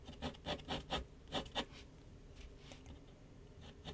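A pencil rubs rapid hatching strokes near the top of a large white paper sheet mounted on a flat board on an easel. A quick run of scratchy, rasping strokes with bright hiss comes first, then the scratching continues more softly, ending with one more firm stroke.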